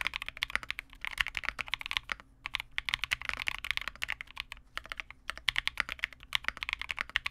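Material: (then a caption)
Plastic. A Vega65 custom 65% mechanical keyboard with re-lubed Cobalt switches, white plastic keycaps and a dark case is typed on continuously with the fingertips of both hands. Rapid, bright, crisp plastic clacks centered around 2 kHz have very short decay and little low end. The typing pauses briefly near 2.3 and 5.2 seconds.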